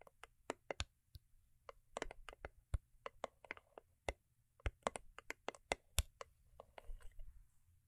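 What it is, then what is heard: Cardboard gift box tapped with nails. Long acrylic nails tap and scratch the sides and top of a small, hollow, cube-shaped rigid cardboard gift box with a holographic foil-paper covering, resting on faux fur. About two dozen sharp, dry clicks land at an irregular pace, each dying out almost instantly, with brief bursts of soft scratching between them. A faint, steady low hum sits underneath throughout.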